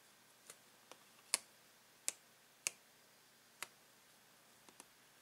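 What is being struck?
Clear plastic blister pack holding paint pens.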